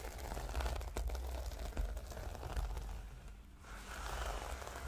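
Long nails scratch and rub with both hands across the reversible pink and blue plastic sequins covering a flat notebook. The result is a dense, crackling rustle over a heavy low rumble, with a few sharper scrapes standing out. The sound briefly quiets before the rubbing picks up again.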